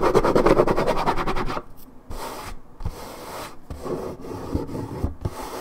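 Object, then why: Coated paperboard juice carton. Long red nails scratch the scuffed white patch on the printed side of a hollow Minute Maid 1.75 L coated paperboard orange juice carton, whose fill level isn't visible. The first second and a half is a dense, fast, rhythmic raspy scratching with a low-mid hollow tone. It then drops to quieter, intermittent scratching with brief pauses before the hand lifts away.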